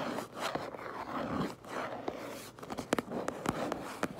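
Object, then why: Cardboard box. Long nails scratch and trace across the back of a cardboard Minecraft Lego box, making a steady, soft rustling scrape. Sharp, dry taps on the box stand out, most often in the second half.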